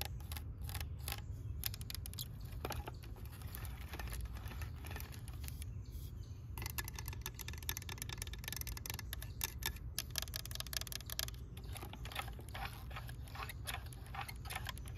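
Long acrylic nails tap and scratch the hood and body of a green and yellow hollow plastic toy tractor with rubber-look wheels resting on a white bench. Rapid, crisp clicks and scrapes with very short ring sit over a steady low rumble.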